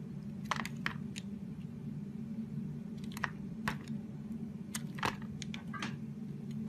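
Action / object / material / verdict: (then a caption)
scrape / bar of soap cut with a knife blade / soap / none. A utility knife blade shaves and carves a solid, hand-sized teal oval soap bar held in the palm, peeling off thin curls. Short, crisp crackling scrapes and clicks come in scattered bursts, over a steady low hum.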